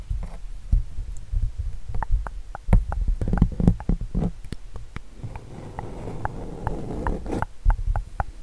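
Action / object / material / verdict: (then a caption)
scrape / acrylic-painted stretched canvas / painted canvas / none. Fingertips and nails scratch and rub the surface of an acrylic-painted canvas bearing an eagle painting, held upright. The result is a dense, muffled stream of soft, deep thumps and brief, sharp scratchy ticks, mostly low in tone with little high sparkle.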